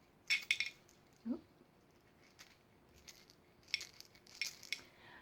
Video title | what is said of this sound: Summer Term Wk 10 Liza | tiny little jar with just a few wee nuts in it and it makes a different sound again